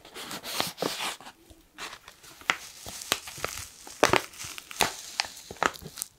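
Fingers crinkle and squeeze a black foil-lined plastic coffee pouch held close to the mic. Soft, hissy rustles in the first second and a half give way to a series of sharp, bright crackles and snaps. Each crackle cuts off quickly with almost no ring, and there is very little low end.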